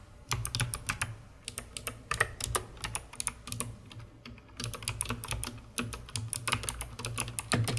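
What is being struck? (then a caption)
Plastic mechanical keyboard keys. Rapid typing with long red-painted nails and fingertips on a COX CK900 S2 full-size mechanical keyboard, which has white plastic keycaps and a hollow dark plastic case, under purple LED lighting. Dense bursts of short, bright, clicky keystrokes sit over a low hollow thump, with a brief pause near the middle.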